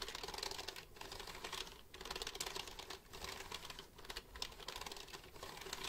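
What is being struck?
Plastic computer keyboard.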